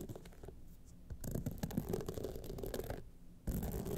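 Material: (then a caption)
Rhinestone. Long nails scratch down the rhinestone face of a gold rhinestone-studded clutch wallet, starting from the top. A soft, low, grainy scratching starts quietly, grows into denser, brighter rasping through the middle, dips briefly, then returns louder at the end.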